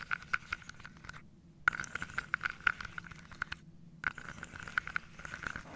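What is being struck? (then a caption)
Wooden dominoes in a wooden box. Fingernails scratch and tap across the tops of small wooden dominoes standing on edge in an open carved wooden box held on the lap. The result is quick, dry, clicky taps and light scraping with a bright woody tone near 1.4 kHz. Two brief pauses of near silence break up the activity.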